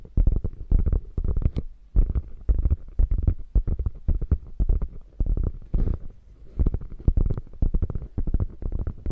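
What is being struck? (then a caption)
Quilted faux leather bag. Long nails scratch the quilted top of a hollow, padded beige quilted faux leather bag, making quick, irregular bursts of soft scratching. The sound is dull and deep, mostly low thumping rustle with little brightness, and each stroke dies away almost at once.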